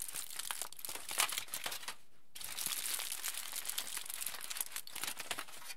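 A large aluminium foil sheet, held above a dark surface, is squeezed and crumpled into a loose ball with both hands and fingertips. Dense, bright crinkling and crackling fills the clip, briefly stopping for a short silent pause before resuming just as busily to the end.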